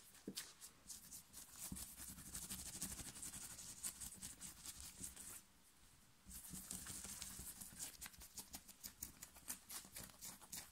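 Fingernails scratch fast and hard over the chest and shoulder of a worn black knit fabric t-shirt, making a dense, bright, rasping scratch with a soft low rumble underneath. The scratching pauses briefly to near silence just past the midpoint, then resumes just as fast and rough until the end.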